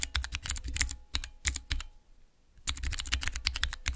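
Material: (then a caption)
Plastic. Fingernails and fingertips rapidly tap three tall, translucent clear plastic keycaps on a Cherry MX mechanical switch keypad. Quick bursts of sharp, bright plastic clacks sit over a low thud, breaking for a short quiet pause in the middle before the fast tapping resumes.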